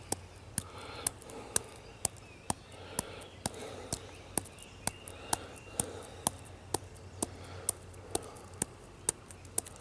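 Fingertips with short nails tap and scratch the rough, furrowed bark of a solid tree trunk. Around twenty sharp, dry taps land at a steady pace of about one every half second, each with a bright, clicky top and no ring. Soft scratching fills the gaps over a faint low hum.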